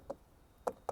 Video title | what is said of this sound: What type of siding is on my house? | That's made of like cement, water, sand, and cellulose fiber. It just makes it real hard.